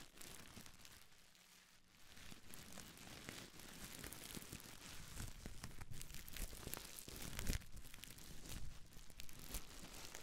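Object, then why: Plastic bubble wrap bundle. A small folded bundle of clear, air-filled plastic bubble wrap is squeezed, crinkled and scratched with long nails. Dense crackling and crinkling runs throughout, with a brief quieter lull near the start. The sound then builds to busier, louder bursts of crunchy rustling.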